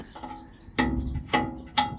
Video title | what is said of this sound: This Range Rover L405 Rattle Sounded Expensive... | that sounds solid with a nice tone there